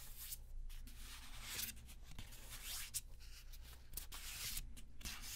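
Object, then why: Deck of paper playing cards. A small deck of thin paper playing cards is held in both hands while fingertips rub and slide the cards against each other, as in shuffling and fanning. The result is a quiet, continuous bright rustling and papery scraping that swells and fades in waves, with a few sharper flicks, over a steady low hum.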